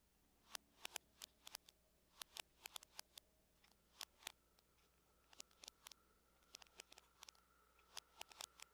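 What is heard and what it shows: Long nails tap the lid of a closed silver aluminum laptop at a moderate rate, making about thirty sharp, bright clicks that stop almost instantly. The taps come in small clusters with brief pauses, over a quiet, faint background.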